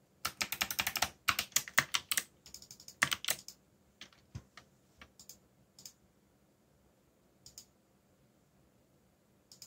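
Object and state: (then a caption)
Plastic mechanical keyboard. Fingertips with short nails type quickly on a backlit black mechanical keyboard with plastic Korean-labeled keycaps, giving dense, bright key-press taps and clicks. A rapid burst of clacking fills the first few seconds, then thins to scattered single key presses with quiet gaps between them.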